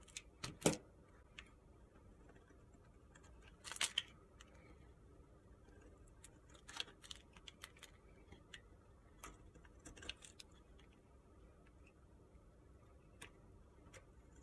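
A utility-knife blade repeatedly scrapes shavings off the surface of a solid pale pink soap bar held in the hand. Short, dry, bright scraping and crackling strokes come at an irregular pace, with the loudest bursts near the start and around four seconds. Softer scrapes follow against a quiet, low background hiss.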